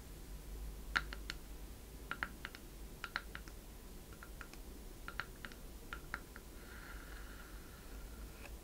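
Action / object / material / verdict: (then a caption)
tap / small wooden chest / wood / none. Long red nails tap and scratch the worn side of a small hollow wooden treasure chest, close up. A string of quick, dry clicking taps with a bright edge and almost no ring centers around 1.4 kHz. A softer scratching passage follows near the end, over a steady low hum.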